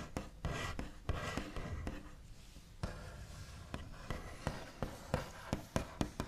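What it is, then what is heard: Wooden tabletop tapped and scratched with nails. The backs of long nails rub, scratch and tap across a flat, solid, white-finished wooden tabletop. Soft scratchy tracing is broken by a series of sharp, dull knocks with very short decay, the sound mostly low and thuddy with little brightness.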